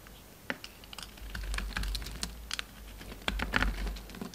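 A solid pink bar of soap with a yellow rim, held in the hand, has chunks carved and scraped off with a metal utility knife blade. Irregular, crisp cutting clicks and short scraping strokes snap out bright over a steady low rumble, with a denser run of sharp cuts near the end.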